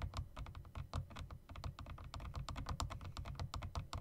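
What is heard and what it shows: Fingertips rapidly tap the spacebar of a typewriter-style mechanical keyboard with round plastic keycaps and metal rims, then tap the keys with long nails. The result is a quick, steady run of short clicks and clacks with a low thump under each and bright ticks on top, every tap dying away almost at once.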